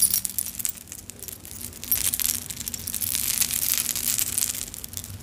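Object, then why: Clay and metal charm necklace on a metal chain. A long vintage necklace on a metal chain with small solid clay kitchen charms and metal bead charms hangs from one hand and is jostled with long acrylic nails and fingertips. The charms clink and rattle together in quick, irregular bright ticks, each dying away almost at once. A faint low hum runs underneath.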